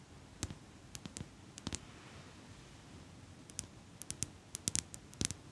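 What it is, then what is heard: Metal eyelash curler tapped with nails. A small metal eyelash curler is held in both hands while long pink nails tap and click along its metal frame and handles. About seventeen short, bright clicks come in irregular clusters over a soft, steady hiss, each dying away almost instantly.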